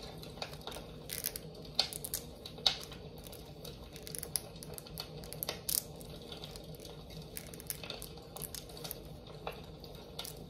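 A large amber glass jar candle with a lid, filled with wax and held in one hand, is tapped on the glass with long nails. Quick, irregular clicks and bright taps sound over a steady low hum, each one dying away almost at once.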